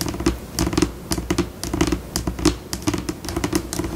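Long pink acrylic nails tap rapidly on a flat white solid laminate tabletop, close-up. Quick, unevenly spaced clicks with bright scratchy edges sit over a soft low body, and each tap dies away almost at once.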